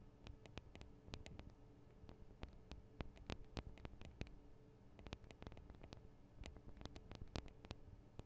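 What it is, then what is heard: Metal microphone capsules tapped with nails. Long acrylic nails on both hands tap the small, hollow metal microphone capsules of a Tascam DR-40 recorder. The result is a quick, irregular run of sharp, bright clicks that die away almost instantly, over a quiet, steady low hum.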